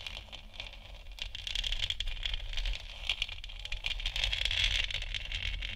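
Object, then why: Hollow plastic moon lamp sphere. Long nails tap and scratch the top of a hollow plastic moon lamp sphere, which is lit. The clip is a busy, irregular run of quick dry clicks and rasping scrapes with a bright, hard edge around 2.8 kHz. A low hum runs underneath throughout.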